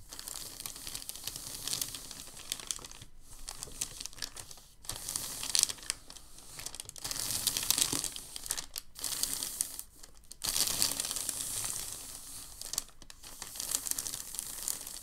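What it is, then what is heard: Crinkled packing paper. Palms and fingertips press and rub across a thin, crinkled packing paper sheet lying on a table. The result is a steady, bright, dense crinkling and rustling with brief quiet gaps and little low end.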